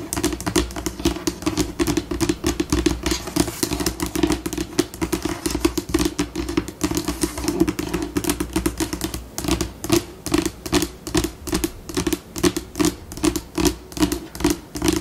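Long pink acrylic nails on both hands tap and scratch a flat, solid white laminate tabletop, alternating rapid clicking taps with scurrying scratches. The pace shifts between slow and fast, with dense clicking early on and more spaced bursts toward the end. A steady low hum runs underneath throughout.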